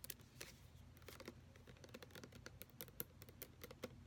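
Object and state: Plastic lotion pump bottle.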